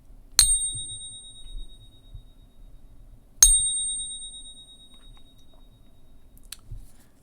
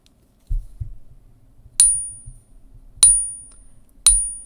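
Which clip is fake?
The second.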